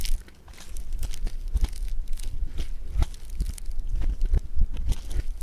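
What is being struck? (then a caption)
Foam bead clay lump. A lump of blue foam bead clay (floam) is folded, pinched and squeezed by fingers. The result is a dense, continuous crunchy crackle of bright crisp pops over a low thumping rumble, with no pauses between the sounds.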